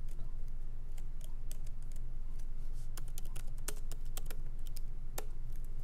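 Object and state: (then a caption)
Laptop keyboard with plastic keys in a metal body. Both hands type lightly with their fingertips on a MacBook Pro laptop's plastic keycaps, set in its aluminum body, as it rests on a wooden desk. Short, dry, bright clicks come at an uneven pace over a steady low hum.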